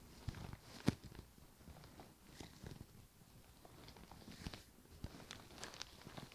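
Fingertips and nails scratch and tap both side panels of an upright, hollow white leather handbag with brown trim. The result is a quiet, low, muffled rustle of scratching, broken by sharp, short taps that die away almost instantly, with brief bright edges.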